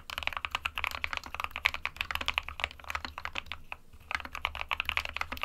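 Fingertips of both hands type continuously on an SK61, a small 60% white plastic-cased mechanical keyboard with plastic keycaps resting on a desk mat. It makes a steady stream of dozens of bright, sharp plastic clacks with almost no ring and little low end, with a brief lull just before the typing picks back up.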